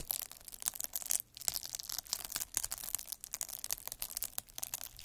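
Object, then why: Plastic bubble wrap scraped with a metal needle roller. A metal-needle derma roller, held by the fingertips, is rolled across a clear plastic bubble wrap sheet with air-filled bubbles, scratching its surface. The result is a dense stream of crisp, bright crackling and ticking with almost no low end, broken by a brief lull around the one-second mark.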